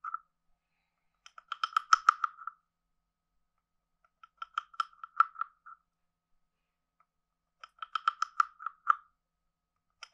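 A wooden stick is scraped across the ridged back of a hand-sized, hollow, carved wooden frog guiro and tapped on it. It makes short bursts of rapid, clicky croaking rasps with a hollow tone centered around 1.3 kHz and bright overtones. Three main bursts are separated by silence, with brief fragments at the start and end.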